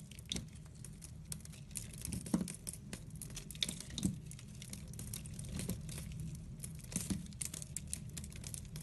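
A metal blade cuts and scrapes slices off a hand-held solid soap bar with a pastel sprinkle coating and a layered purple, orange and white core. Dense, crisp crackling and crinkling scrapes come with sharp bright clicks, a few louder snaps stand out, and a steady low hum runs underneath.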